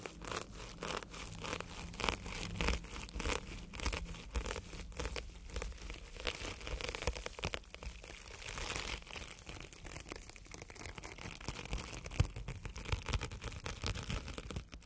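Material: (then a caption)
Foam. A wire-handled bristle tube brush is rubbed over a solid, soft, red and yellow porous foam sponge. It makes a steady run of quick, dry scratching and crinkling strokes with bright hiss over a low, soft thud. Each stroke stops almost at once, with no ring after it.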